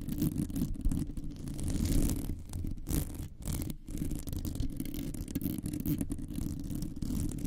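Long nails on both hands scratch around the sides of a hollow metal wire mesh microphone head. The result is a dense, continuous scraping rumble concentrated in the low end, with little brightness. It briefly dips at two short pauses partway through.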